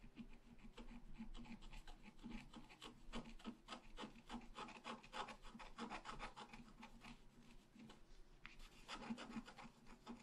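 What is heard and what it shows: A wooden stylus scratches the tree trunk area of a flat, black-coated scratch art paper sheet. Quick, uneven strokes make a dry, rasping scratch that stops dead after each stroke, over a faint, steady low hum.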